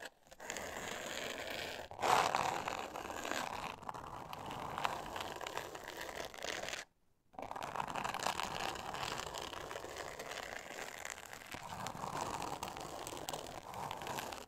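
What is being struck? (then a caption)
Glitter-paper covered board. A flat, thin, solid board covered in pink glitter paper is scratched by long nails, producing a continuous gritty, crackling scrape. The sound is mostly mid-range with some bright texture. It pauses briefly near the middle, then resumes.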